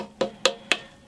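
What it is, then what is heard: Banjo rim with tight glue joints, no rattle. Three light taps on the three-layer glued wooden rim of a 1962 Gibson Mastertone banjo, checking the glue joints for gaps and rattles. Each tap gives a short, bright, woody knock with a tone near 535 Hz that dies away quickly. No rattle follows, showing the rim's glue joints are sound.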